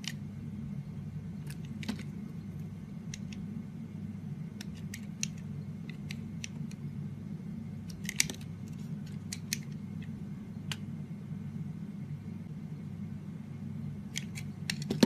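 A utility-knife blade peels curling shavings off the surface of a solid, firm, green rectangular bar of soap held in the hand. Soft, crisp scraping and short bright clicks come at irregular intervals over a steady low hum, with a few sharper snaps standing out.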